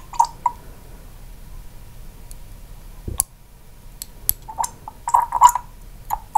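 Long pink acrylic nails tap and click on the black dropper cap and neck of a small amber glass serum bottle held in one hand, with a nearby microphone left untouched. Scattered short, bright glassy clicks ring near 970 Hz and die away almost at once, with a soft low thump around the three-second mark. The clicks bunch together toward the end against a quiet background.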